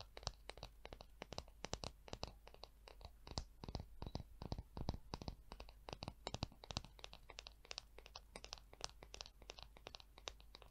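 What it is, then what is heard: Wooden comb. Long acrylic nails scratch and tap along the spine and fine teeth of a small, solid, light-wood peach wood hair comb held in one hand. The result is a quick, uneven string of dry, crisp clicks and short scratchy strokes with bright edges and almost no ring, over a steady low hum.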